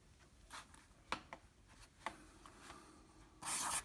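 A black felt-tip marker, held in the fingers, scribbles across a flat 9x12 in. medium-surface drawing paper sheet lying on a table. Soft, dry rubbing strokes are punctuated by a few sharp, bright ticks of the felt tip striking the paper. The clip ends in a louder, continuous high-pitched rasping scribble.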